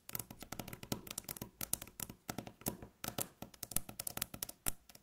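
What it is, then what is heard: Wooden tabletop. Long natural fingernails rapidly tap and scratch a solid, light-colored, flat wooden tabletop. The result is a quiet, fast string of short, dry clicks and scrapes with a low knock beneath bright edges, each dying away almost instantly with no ring.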